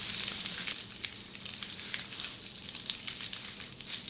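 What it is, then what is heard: Plastic bubble wrap scratched with fingernails. Long red-painted nails scratch and press a flat sheet of red plastic bubble wrap lying on a table. The result is a steady, bright crackling hiss, like sizzling, scattered with small sharp ticks and pops.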